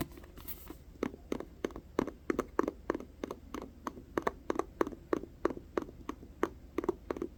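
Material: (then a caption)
Paper. Fingers tap a paperback volume of the manga *Perfect World* in a quick, slightly uneven rhythm of about three taps per second. Some 27 short, dry taps sound, each a soft low-mid knock that dies out at once. A faint steady hum runs beneath them.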